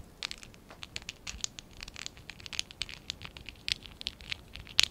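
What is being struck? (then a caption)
Stack of small plastic toy bricks. Fingertips and short nails scratch and rub a small stack of small, hollow pink and dark blue ABS plastic Lego Classic 11017 bricks held in both hands. The result is a quiet, dense run of bright, crackly scratches and sharp little clicks with almost no low end.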